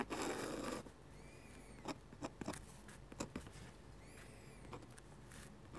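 A metal-nib dip pen scratches rapid hatch strokes across a sheet of flat white drawing paper. It opens with a dense, loud scratching burst, followed by quieter, irregular short scrapes and ticks with faint high squeaky tones between them, over a low steady background.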